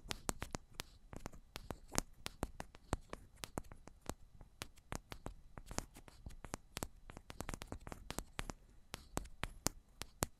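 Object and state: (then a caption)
Metal microphone body. Long pointed ombre nails tap the tops of two identical silver metal cylindrical microphones. The result is a quiet, rapid, irregular stream of sharp, clicky taps with a low thump beneath bright ticks, each dying instantly with no ring.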